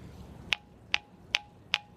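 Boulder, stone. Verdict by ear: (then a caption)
Ringing. Four taps on the indentation of a ringing stone give sharp, bright bell-like pings centered near 2.7 kHz, each with a faint lower tone that lingers briefly. The rock rings like a bell, attributed to the circular pattern under the rock carrying the sound through the stone and out the bottom.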